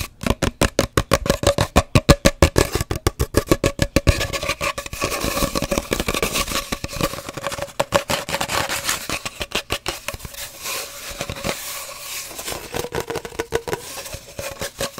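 Fingernails tap rapidly on an empty, hollow cardboard paper towel roll, first held upright and then horizontal, making quick, dry, hollow knocks with a steady mid-pitched resonance. After about four seconds the tapping turns into continuous, uneven scratching, a papery rasp with bright hiss, broken by occasional taps until the end.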